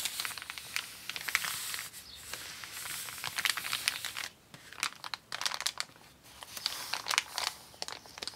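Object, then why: Kraft paper mailer bag. A flat, empty brown kraft paper mailer bag with a white shipping label lies on a wooden table and is rubbed and crinkled under the flat palms of both hands with painted nails. Bright, dry crinkling and crackling comes in dense bursts with sharp snaps and brief quieter gaps, and there is almost no low end.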